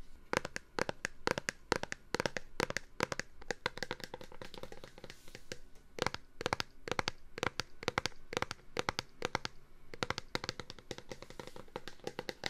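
A plastic Clorox disinfectant-wipes container is tapped for ASMR, giving dozens of quick, dry, hollow taps in uneven bursts. Each tap stops short with almost no ring, and quieter crinkly handling sounds fill the gaps.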